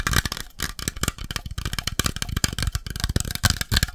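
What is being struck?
Metal coffee can.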